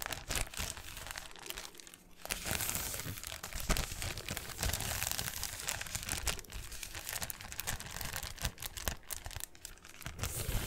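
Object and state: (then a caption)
Metallic foil gift wrap. A large, thin sheet of shiny pink metallic foil gift wrap with a white heart print is held in both hands with dark-painted nails, then squeezed and crumpled close to the microphone. Dense, bright crinkling and crackling with tearing-like rustles runs steadily for about ten seconds, easing briefly around the two-second mark.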